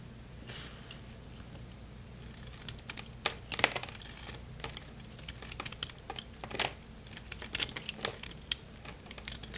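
A solid, dry red bar of soap held in the hand is carved with a craft-knife blade, and crunchy flakes break off. Quick, bright scraping crackles come in irregular bursts, some sharper and louder than others, over a faint steady low hum.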